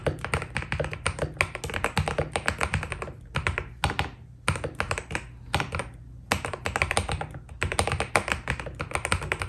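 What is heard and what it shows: Fingertips of both hands type on a white Keydous NJ80 mechanical keyboard with PBT plastic keycaps, a steel plate and foam inside. Bursts of quick, dry clacks and taps with a low thud under each keystroke are broken by a few brief pauses. Each keystroke dies away almost at once.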